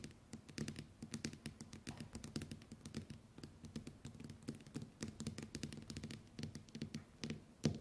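Long white nails tap rapidly on the glass screen of a small, flat smartphone lying face up on a table. The result is a quick, uneven patter of short, dry clicks with a soft low thump under each tap and a brighter tick on top. One louder tap lands near the end.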